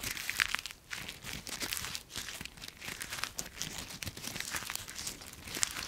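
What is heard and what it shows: A handful of dry brown autumn leaves is repeatedly squeezed and crumpled in a fist with bare fingers. The result is a dense, continuous crackling and crunching that is bright and crisp, with little low end, rising and falling in waves as the grip tightens and loosens.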